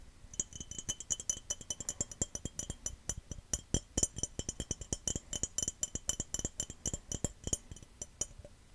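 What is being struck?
Glass cup.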